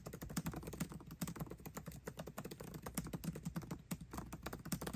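Fast typing with both hands' fingertips on a 13-inch aluminium MacBook Pro keyboard with backlit black plastic keycaps. The continuous, rapid stream of short, dull clicks and taps decays almost instantly, with a low thud-like body and little high brightness. About 36 keystrokes can be picked out over five seconds.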